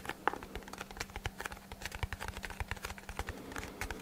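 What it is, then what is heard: Cardboard box. A small, hollow brown kraft cardboard box, held in both hands near the microphone, is tapped quickly with fingertips and short nails. The taps are dry, hollow and soft, ending instantly with no ring, over a faint steady low hum that fades out near the end.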